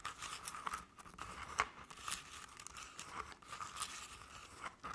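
Long fingernails on both hands scratch the sides of a crepe-paper covered decorative pumpkin. The result is a soft, dry, papery scratching and crinkling with brief sharp ticks and a faint steady tone around 1.1 kHz. Bright hiss runs up into the high range.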